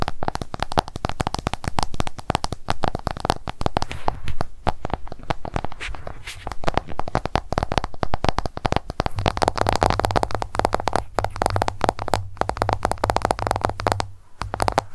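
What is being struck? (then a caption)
Smartphone glass screen. An iPhone is held and then laid flat while long nail tips tap rapidly on its glass screen. The result is a dense stream of quick, dry clicks with almost no ring. A steady low hum sits beneath the taps throughout.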